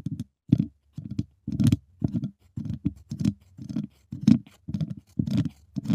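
Two wooden chopsticks held in the fingertips tap and scratch the hollow dome-shaped wire mesh grille of a large silver USB microphone. About a dozen short, dry bursts of rapid clicking and scraping arrive roughly twice a second, with a muffled low-mid body, a faint bright grit, and no ring after each touch.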